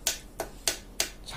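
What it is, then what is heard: Stock motorcycle muffler, packed full (dull). The original, unbored stock steel exhaust muffler of a Kawasaki Ninja RR 150, still packed full inside and very heavy, is tapped four times, with a faint fifth tap at the end. Each tap gives a short, dull knock that dies away quickly rather than ringing. The muffled tone is normal for the stock packed muffler, unlike a bored-out one.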